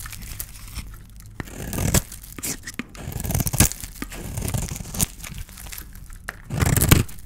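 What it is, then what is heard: Dry bar soap being shaved. A small metal blade scrapes across a palm-sized, solid oval bar of dry white soap with leftover silver paint, held in the hand, shaving off soap curls. Repeated dry, crunchy scraping strokes with a crisp tearing crackle, some short and some longer, over a low, muffled handling rumble.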